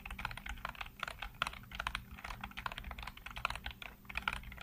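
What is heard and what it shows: Fingertips rapidly tap and type on the hollow keycaps of a full-size black plastic computer keyboard. A quick, uneven stream of short, bright plastic clicks and clacks dies away almost instantly, over a faint, steady low hum.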